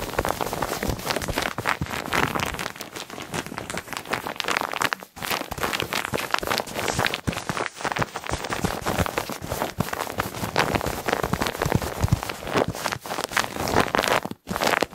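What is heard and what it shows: A rectangular white foam pillow with a soft, solid textured mesh fabric cover is scratched and tapped with fingertips and nails. The result is a dense, continuous patter like rain. Broadband scratchy crackle runs throughout, with only brief dips in level.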